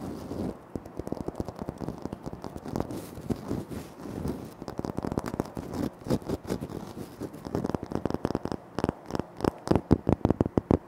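Fingertips tap rapidly and short nails scratch across a flat, solid, speckled granite floor tile. The result is a dense run of dry, clipped taps that die out almost instantly, with soft scratchy noise between them, most of the energy sitting in the low and mid range. The tapping grows sharper and more spaced out toward the end.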